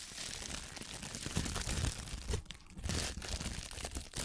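A thin sheet of clear plastic kitchen cling film is held and crumpled between both hands with long painted nails right in front of the microphone. It makes a steady, dense crinkling and crunching with bright crackle over low, close-up rumbling thumps. The sound briefly eases around the middle before picking back up.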